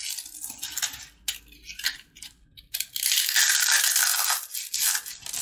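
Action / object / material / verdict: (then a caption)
scrape / fried papad shell / fried dough / none. A small, hollow, dry yellow fried papad cone held in one hand is squeezed and crushed by the fingertips into crispy fragments over a dark tray of snacks. Sharp, bright crunches and crackles come in separate bursts at first, then merge into a dense, continuous crackling crumble. Little low end is heard as the shell breaks apart.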